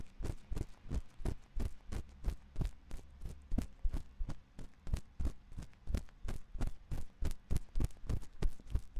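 A thin metal ear pick scratches inside the ear canal of a white silicone ear on a 3Dio binaural microphone. It makes a steady run of quick, muffled scraping thumps, about three per second, deep and close with a faint bright edge on each stroke, and no voice.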